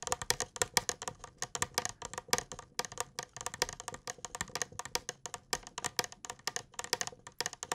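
A small, hollow, apparently empty clear glass mug or jug with a handle is held near the face and tapped rapidly with fingertips and nails. The taps are quick, bright clicks with a faint glassy ping around 950 Hz that dies away almost instantly, in a steady, dense pattern throughout.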